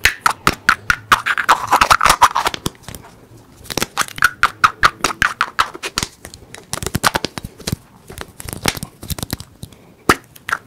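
A small, closed, hollow teal plastic toy egg held in the fingers is tapped and scratched quickly with the fingertips and nails. Rapid, irregular bursts of sharp, dry clicks carry a faint hollow ring near 1.2 kHz, with brief scratchy rustles and short pauses between flurries.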